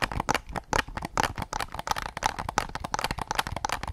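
A hollow white hard-plastic PS5 DualSense controller is tapped with fingertips close to the mic, then raised to show its back. The result is a rapid, uneven run of dry, hollow clicks with a mid-pitched plastic tone around 840 Hz and bright edges. Each tap dies away almost instantly.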